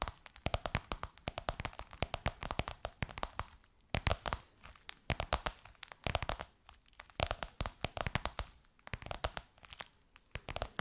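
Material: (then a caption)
Faux leather. Long white almond nails on both hands tap and scratch a gold crocodile-embossed faux leather pillowcase stretched over a soft pillow. Rapid, dry, bright clicks and crinkly scratches come in bursts separated by brief pauses. Each tap dies away almost instantly.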